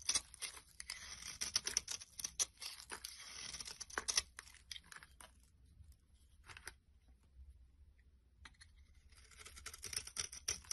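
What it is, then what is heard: Glycerin soap bar being scraped. A solid, translucent brown-orange glycerin soap bar held in the hand is scraped with a metal blade, peeling off crumbly shavings. The sound is a bright, dry, crackly scraping made of quick rasping strokes that fade to quieter, sparser scratches in the middle before building back up toward the end.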